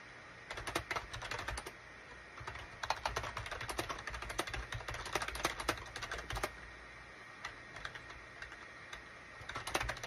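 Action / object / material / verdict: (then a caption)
tap / plastic computer keyboard / plastic / none. Fingertips type on a full-size gray and beige SHIPADOO K600 wired USB keyboard made of plastic with hollow plastic keycaps. Quick bursts of sharp, clicky taps come in flurries, with short pauses around the two-second mark and a longer gap near the end. A faint steady hum runs underneath throughout.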